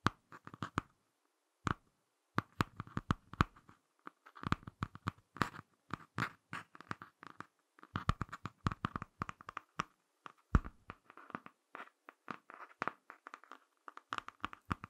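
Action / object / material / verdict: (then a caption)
scrape / laminated cardboard hardcover book / cardboard / none. Fingertips and short nails scratch the laminated cardboard cover of a small, closed Ladybird hardcover picture book, which is tilted and then turned over to its back cover. The result is many quick, dry, quiet scratches in irregular bursts, each dying away almost at once, with a soft low thud beneath them.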